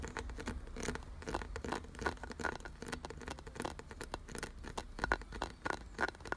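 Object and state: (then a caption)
Carved wooden object. Fingertips and nails rapidly tap and scratch across a solid, glossy brown carved wooden piece with ridged grooves. The result is a fast, dense patter of short, dry clicks and scrapes with almost no ring, over a faint steady low rumble.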